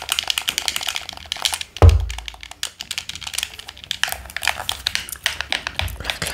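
A black, hollow plastic handheld game controller in the Pro Controller style is held in both hands while fingertips rapidly tap its plastic shell and press its buttons and sticks. Dozens of quick, bright, dry clicks and taps follow one another with almost no ring, broken near the two-second mark by a single heavier thump with a deep low boom.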